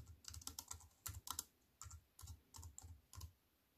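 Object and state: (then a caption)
Plastic computer keyboard typing. A compact wireless keyboard with black plastic keys in a thin silver aluminium frame, resting on a wooden table, is typed on with fingertips and long white nails. Quick, crisp, bright key clicks come in short bursts, each with a soft low thump beneath it, and they die away almost at once.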